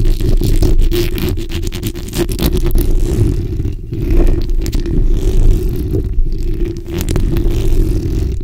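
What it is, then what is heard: Metal mesh microphone grille being scratched. The backs of long nails scratch a black, hollow steel mesh microphone grille while a hand sweeps over its top. The result is a dense, continuous, loud scraping and rustling with a heavy low rumble and a steady band of buzzy texture. Faint crackles are scattered above it.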